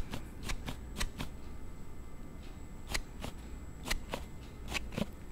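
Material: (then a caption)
Plastic. A thumb slides a plastic slide case on a Note7 smartphone open and closed, producing quick, sharp rubbing clicks that come in irregular bursts. Each click is brief and bright, set over a low, steady background hum.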